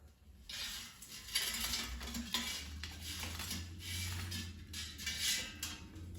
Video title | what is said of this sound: Air Fryer Crispy Breaded Zucchini Recipe - so crunchy, you won't believe they are made of zucchini! | When it's fell on a plate, you can just hear the crunch.